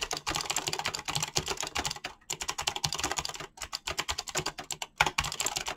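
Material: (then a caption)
Plastic. Fingertips type fast on a mechanical keyboard with clicky green switches and PBT plastic keycaps. A dense, rapid stream of bright, short clicks plays with brief pauses near two and three and a half seconds, and one louder key strike lands near five seconds.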